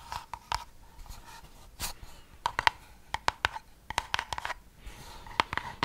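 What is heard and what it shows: Long manicured nails scratch and tap a small, hollow white cardboard gift box with a gold band, held in the hands. Soft, brushing scratches alternate with a series of sharp, quick taps that carry a faint hollow tone around 930 Hz with bright clicky edges, each dying away almost instantly.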